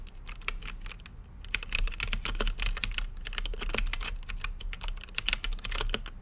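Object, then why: Mechanical keyboard with plastic keycaps and acrylic case. Fingertips type steadily on an RGB-lit mechanical keyboard with plastic keycaps and a clear acrylic case. Rapid, sharp key presses give bright, clacky clicks that stop instantly, over a faint low rumble.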